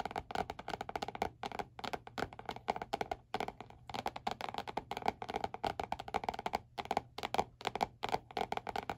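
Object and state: Spiral notebook with laminated cardboard cover.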